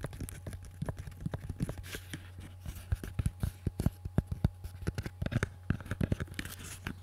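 A small, solid wooden pistol grip with a textured surface is held up close to the microphone in both hands and tapped and scratched with fingertips and nails. The result is dozens of quick, dry, short taps mixed with rough scratching, set over a steady low hum.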